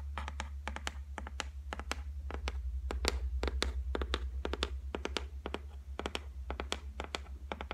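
Long white nails tap rapidly on a flat, solid white laminated shelf top. Sharp, dry clicks with a bright edge stop almost instantly, falling in quick, uneven bursts over a steady low hum.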